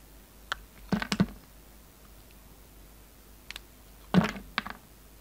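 A steel utility knife blade carves and scrapes a solid, hand-sized pink and green flower-shaped bar of soap held in the fingers. Short, crisp cutting clicks and scrapes come in two main clusters, with a few lighter ticks between them. Each cut has a dull low thud and a brief bright edge, and the sound dies away quickly.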